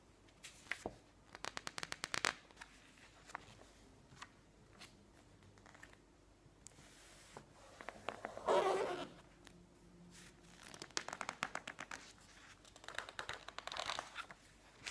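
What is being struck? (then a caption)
Glossy paper magazine pages. Long nails rub and tap along the page edges of a thick, open glossy-paper magazine lying on a table, making quick bursts of crisp, bright clicks and soft scratchy rubbing. Midway through, a page is flipped with a louder papery swish, and the dry edge-rubbing and ticking continue afterward.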